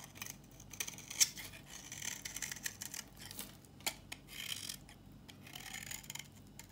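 A solid dry red bar of soap, held in the hand, is scraped and shaved with a knife blade, peeling off brittle curls. The sound is a quiet, bright, papery scratching made of many short rasps, with a few sharper clicks standing out.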